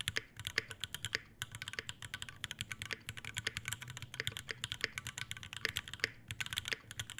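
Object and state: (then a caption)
Mechanical keyboard with ABS keycaps and brass plate. An Iron180 tenkeyless mechanical keyboard with Alpaca V2 switches, a brass plate, a brass bottom, white ABS keycaps and a dark metal case is typed on continuously with the fingertips of both hands. The result is a steady, fast stream of short, bright clacky keystrokes with a dense upper ring, a faint low thump underneath, and almost no decay between strikes.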